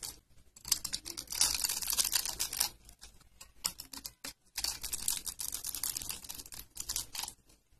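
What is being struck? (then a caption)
Bar of soap cut with a blade. A utility blade slices small cubes off a solid tan bar of dry soap that is pre-scored in a grid and held in the hand, while another bar sits untouched nearby. The blade makes rapid, crisp, crunchy clicks that are bright and dry, with almost no ring. The clicks come in two dense bursts separated by a brief quieter pause.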